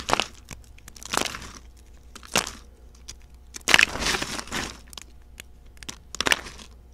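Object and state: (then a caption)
Dry soap flakes crushed. Brittle, dry pink soap shavings with some speckled pieces are snapped between the fingertips, then crushed by the handful in the palms. Short, dry, bright crackles and crunching bursts come in quick clusters, each stopping abruptly with almost no ring.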